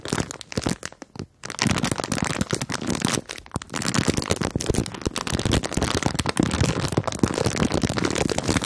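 A clear plastic bag full of marshmallows is crinkled, squeezed and scratched with long nails. Dense, sharp crackling and rustling run almost continuously, with a short quiet gap early on.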